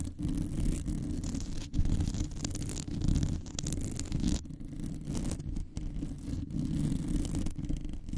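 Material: Metal mesh.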